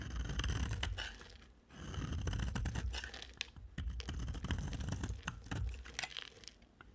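A solid yellow rectangular bar of dry soap is shaved with a utility-knife blade, crumbly yellow flakes falling away. Repeated dry scraping strokes sound over a low, rumbling body, with bright, crisp crackles as the blade bites through the soap.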